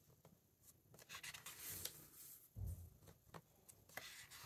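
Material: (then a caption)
Paper. Fingertips lift, turn and rub the matte paper pages of a large open hardcover book. Quiet, soft rustles and dry, bright scratchy swipes come and go, with a low muffled thump partway through as a page settles.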